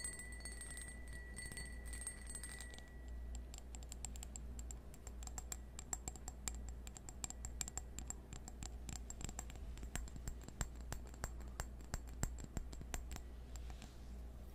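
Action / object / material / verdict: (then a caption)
tap / cut crystal wine glass / crystal glass / none. A small, hollow, empty cut-crystal stemmed wine glass is held up and tapped rapidly with fingernails. This produces a dense stream of quick, bright, clicky taps that die away almost at once, over a steady low hum. A faint high ringing tone is heard at the start and fades out after about three seconds.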